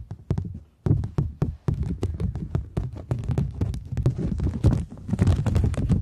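A thin polymer plastic £20 banknote is held close to the microphones while long nails tap and scratch it as it is bent and then pulled flat. Quick, sharp, dry taps with a soft low thump come in a steady run, then thicken into a denser crinkling, scratching texture with brighter flicks toward the end.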